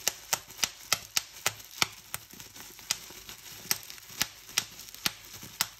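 Fingertips squeeze a strip of bubbles on a clear plastic bubble wrap sheet, popping them one after another. About 18 sharp, bright snaps ring out at uneven intervals, each dying away almost instantly, with faint crinkling of the plastic between pops.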